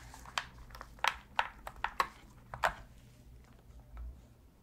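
A black, hollow hard-plastic PS3 controller is held in both gloved hands while the thumbs tap and click its plastic face buttons and D-pad. The result is a series of short, dry, bright clicks with almost no ring, spaced unevenly over a faint low background hum.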